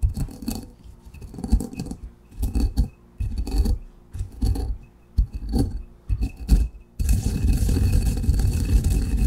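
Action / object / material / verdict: scrape / granite mortar and pestle with ground coffee / granite / none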